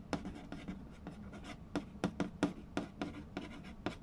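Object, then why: Cardboard board game box. A fingertip traces the printed text on a hollow cardboard Mastermind board game box while fingers tap its glossy lid. Quick, dry taps land in an uneven series over soft, papery scratching. Each tap gives a short, hollow knock with a low resonance near 290 Hz that dies away almost at once.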